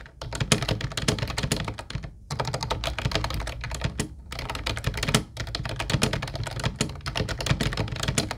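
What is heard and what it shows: Fingertips of both hands type continuously on a mint-blue plastic Ubotie retro keyboard with round white keycaps. Quick, clacky key taps with a low, hollow thump sound in dense runs. Brief pauses fall near 2, 4 and 5 seconds.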